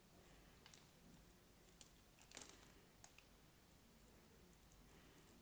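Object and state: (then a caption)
Cream bar soap being scraped. A solid block of cream bar soap held in the hand is scraped and cut with a craft knife blade. Faint, dry crinkling scrapes are punctuated by sharp, bright clicks, with a louder cluster of cuts in the middle, over a quiet low background hiss.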